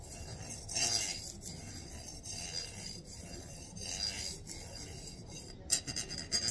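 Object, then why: Stack of metal coins. A long stack of gold-coloured metal coins is held lengthwise in both hands while fingers and nails rub and file along the reeded edges. The result is a soft, bright, raspy scratching that swells and fades in waves, with a few sharp, high clinks of the coins near the end.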